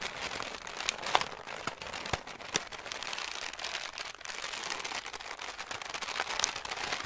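A large, light grey sheet of paper crumpled into a hollow ball is held and squeezed in both hands with fingertips and short nails, crumpled and crinkled throughout. A steady, dense, bright crackle runs the whole clip, with a few sharper snaps standing out near the start and middle, and almost no low end.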